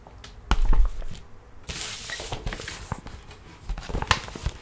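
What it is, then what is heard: Paper gift bag. Long red-painted nails tap, trace and scratch across a flat, empty printed paper gift bag with a snowman design, held on a wooden table. Soft, dull taps with deep thumps give way to a stretch of bright, papery scratching and rustling, then more scattered light taps.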